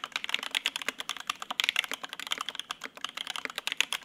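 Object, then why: Mechanical keyboard, ABS keycaps on polycarbonate plate. A Lin Works Whale 75, a 75% mechanical keyboard with white and grey ABS keycaps, lubed Opblack linear switches and a polycarbonate plate, is typed on continuously with the fingertips of both hands while it sits on a desk mat. A steady, rapid stream of short, bright clacks centered around 2.7 kHz is heard, with almost no low end and each keystroke dying away at once.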